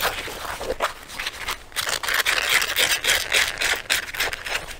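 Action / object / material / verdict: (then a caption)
scrape / leather jacket / leather / none. Fingertips and nails scratch the lapels of a black leather jacket being worn and rub along its sleeve. The result is a quick, uneven run of bright, dry scratching strokes with a hissy texture and almost no low end. Each stroke stops short with no ring.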